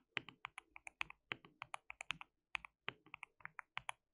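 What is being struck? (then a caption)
Plastic mechanical keyboard. Fingertips of both hands type on a white plastic mechanical keyboard with translucent keycaps. About two dozen quick, separate keystrokes come at an uneven pace, each a sharp, bright plastic clack that stops almost instantly. There is very little low end, and the overall level is quiet.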